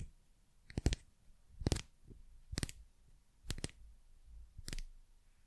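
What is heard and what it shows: A thin, solid wooden pencil with a carved bird topper is tapped and scratched along its shaft with long nails. Five short bursts of crisp, dry clicks are heard, spaced irregularly over a faint low background, each dying away almost instantly.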